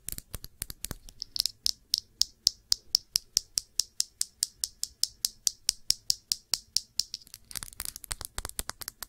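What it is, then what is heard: Glass perfume bottle. Long nails tap the body of a small glass perfume bottle filled with blue liquid and topped with a blue cap. A steady run of dozens of sharp, dry clicks follows, each with a brief high, glassy ping that dies out almost at once. The taps come quicker and more clustered at the start and the end.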